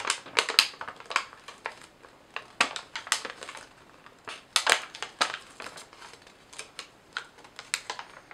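A few sheets of thin yellow lined legal paper, held in both hands, are bent, crumpled and crinkled with fingertips and long nails. About two dozen dry, bright crackles and crinkles come in irregular bursts, each snapping off quickly with no low-end body.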